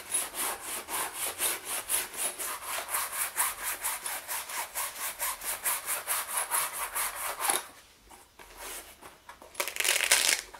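A wooden-backed bristle brush held in the hand is rubbed quickly back and forth over the front panel of a medium, soft black leather shoulder bag resting on a wooden chair. A steady run of bright, scratchy brushing strokes lasts about seven and a half seconds, then gives way to a quieter pause before a short, louder burst of brushing near the end.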